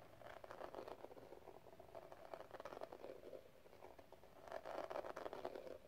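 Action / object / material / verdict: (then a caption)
tap / small metal cigarette case with gem-tile lid / metal / none. A small, hollow metal cigarette case with pink gem tiles and a rhinestone edge is held in the hand and tapped and scratched with long nails. Quick, irregular clicky taps and light scratching ring with a hollow tone around 650 Hz. The activity is busiest at the start and again near the end, with a softer stretch in between.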